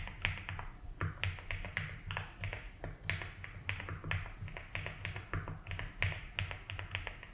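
Fingertips type slowly on a 75% mechanical keyboard with ABS keycaps in a light blue plastic case. A steady run of short, bright, clicky key taps rings briefly over a constant low hum.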